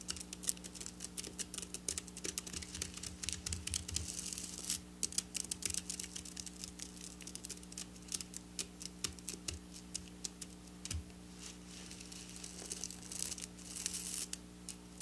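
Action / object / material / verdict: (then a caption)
scrape / sequin fabric / plastic sequins / none. Long black nails scratch and tap at flat silver sequin fabric lying on a table. The result is a quiet, continuous stream of dense, bright clicks and rustling scrapes with very short decay, over a low steady hum.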